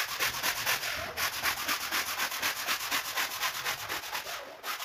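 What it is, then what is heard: Wet woven rug being scrubbed. A red-handled push brush scrubs a large, flat woven rug covered in white foam on a marble floor. Steady, rhythmic bristle strokes produce bright, hissy scraping bursts that repeat about twice per second with only brief pauses.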